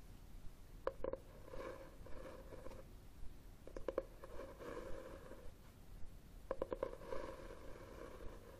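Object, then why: Cloth-covered hardcover book. Fingernails scratch the cover of a red textured cloth hardcover book held upright on a table. Three quiet bursts of dry, rasping scratches, each starting with a few sharp clicks, carry a low, hollow hum around 530 Hz, with pauses of soft background between them.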